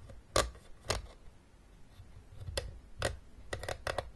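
Long nails scratch and tap the ridged top of a closed, hollow, blue hard plastic Battleship game case. Sharp, bright clicks stand out over a faint scratching bed, starting as spaced taps and ending in a quicker cluster. Each tap dies away almost immediately.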